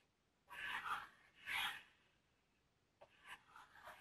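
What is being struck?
Corrugated cardboard box.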